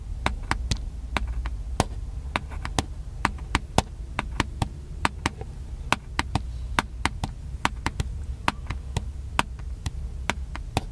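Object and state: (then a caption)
Plastic camcorder body tapped. Fingertips tap the body of a small black handheld plastic camcorder held near the face, giving a steady run of sharp, dry clicks that die away almost instantly. A low, steady hum sits underneath the bright, crisp taps throughout.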